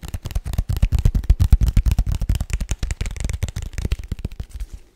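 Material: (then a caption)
Paperboard. A small, hollow, white rigid paperboard box is tapped with the fingertips and nails in a rapid, uneven flurry of taps for five seconds. Each tap is a short, dry, low thud with almost no ring, and the taps trail off softer at the end.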